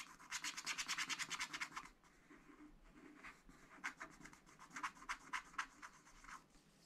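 A short wooden stylus held close to a wax-coated scratch-art paper pad scratches the coating on a flower drawing. A quick run of dry, bright scratching strokes comes first, then a quieter stretch before another series of sharp strokes. Each stroke is brief and raspy, with no ring afterward.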